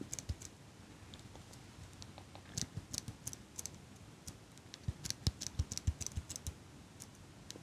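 A small metal eyelash curler, held in front of the mic by hands with long pink nails, has its handles clicked and squeezed while the nails tap on its metal frame. Quiet, irregular, close-up clicks and taps come in loose clusters, each a short dry snap with a bright high edge and a soft low thump, and no ring after it.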